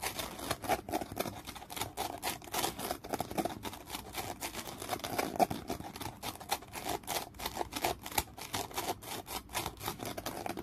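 A dark, gritty foam sanding sponge block is held in the hand while fingernails scratch across its abrasive surface. The result is a steady run of rapid, dry, rasping scrapes with bright, hissy texture, a midrange emphasis, and quick, unresonant strokes.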